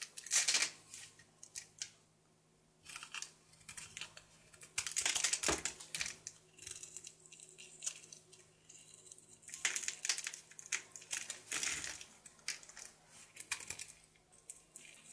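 A solid blue bar of soap held in the hand is carved and scraped with a knife, and shavings fall away. The sound is made of quiet, irregular bursts of crisp, bright scraping and slicing, with brief pauses between strokes and a faint steady low hum underneath.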